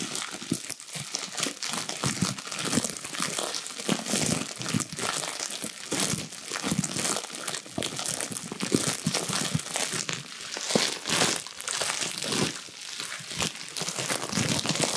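A small sheet of clear plastic bubble wrap is crumpled and squeezed between the fingers and hands, making a steady, bright crinkling with dense crackles and small pops throughout. The rustling never stops for the full clip, with quick, short-lived snaps layered over a hissy plastic texture.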